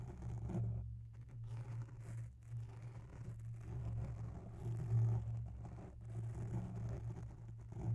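Long natural nails scratch slowly along the side of a grey oval foam microphone cover held close up. The sound is a soft, continuous low rumble and scrape with a steady hum underneath, rising and falling gently with the strokes and almost no bright content.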